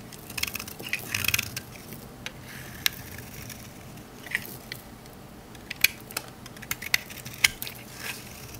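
The edge of a rectangular solid green olive-oil soap bar, held in the hand, is scraped with a metal utility knife blade. Dry, crunchy scraping comes in short bursts of bright, crisp clicks and crackles, separated by quieter gaps. Each sharp snap dies away almost instantly.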